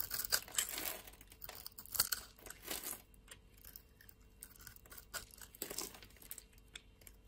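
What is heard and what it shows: A utility-knife blade scrapes the scored surface of a solid blue soap bar into flakes. Crisp, bright, crunchy rasps dominate the first three seconds, then thin out into quieter, scattered scratchy strokes, with almost no low end.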